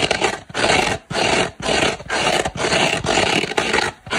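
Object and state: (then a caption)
Kitchen sponge with scouring pad being scratched. Long black nails scratch the green abrasive fibre scouring side of a dry, hand-sized oval kitchen sponge made of soft turquoise polyurethane foam. About eight rhythmic scratching strokes are heard, each a dense, bright, raspy burst separated by a brief silence.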